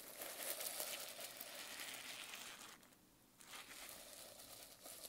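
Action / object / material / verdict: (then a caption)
scrape / plastic sequin notebook cover / plastic / none. A flat hand and fingernails brush across a reversible plastic sequin notebook cover, flipping the sequins between colour and silver. This makes a steady, bright, crinkly rustle that briefly drops away near the three-second mark, then resumes.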